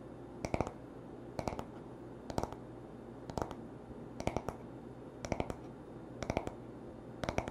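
Fingertips and short nails tap the smooth, solid wooden back of a paddle hairbrush lying on a towel. The taps come in eight evenly spaced bursts of three or four quick, dry clicks each, with almost no ring, over a faint, steady low hum.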